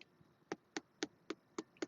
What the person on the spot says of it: you can hear how hollow it is